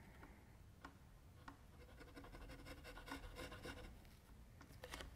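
A metal mechanical pencil scratches shading strokes across flat white drawing paper on a table while a left hand rests on the sheet. The quiet, dry scratching and rubbing comes in irregular rapid strokes with a few sharper bright ticks over a low background rumble.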